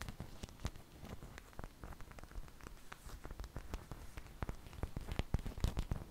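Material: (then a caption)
Flour dough. Long fingernails tap rapidly on the surface of a large, thin flour tortilla held up in the air. The result is a soft, uneven patter of quick, dry taps that stop instantly with no ring, heavy in low thuds with a faint bright crackle, growing slightly louder toward the end.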